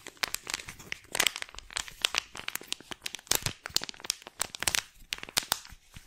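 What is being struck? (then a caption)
Plastic foil wet wipe sachet. A small, flat silver plastic-foil wet wipe sachet, held in both hands, is crinkled, scratched and squeezed by long black-painted nails. The result is a dense run of sharp, bright crackles and rustles with almost no low end, each snap dying away almost instantly.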